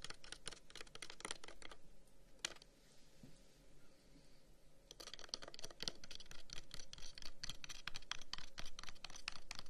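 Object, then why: Carved wooden incense box. The end of a long, hollow, carved wooden incense box is held in one hand and quickly tapped and scratched with the fingertips of the other. Rapid, bright, dry clicks and scratches fill the first two seconds, then fall to a quiet stretch broken by a single tap, before dense, uneven tapping resumes and continues to the end.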